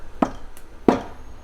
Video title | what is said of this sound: Operation Save Digby: Automotive Trials bring Joy to Mercedessource | when I go over tap over here right away I know there's a fastener down there that we forgotten